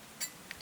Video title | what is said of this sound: Crispy RICE PAPER DUMPLINGS - So Tasty And Fun To Make! | Listen how crispy they are